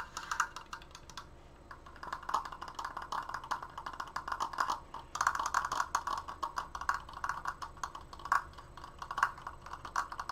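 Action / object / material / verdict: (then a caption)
tap / wooden triangular frame / wood / none. Fingertips and short painted nails fast-tap along the top edges and crossbar of a large, open, triangular Triforce frame made of solid wooden strips, held upright. The sound is a rapid, dense patter of short, dry, woody clicks centered around 1.1 kHz, with brief bright accents. There's a short lull near the two-second mark, and the tapping picks up again more intensely after about five seconds.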